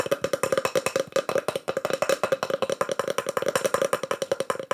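Fast, continuous tapping on wooden slices decorated with burned pyrography mushroom art produces a steady run of short, dry, wood-block-like knocks. Each knock has a hollow tone near 530 Hz and dies away almost at once.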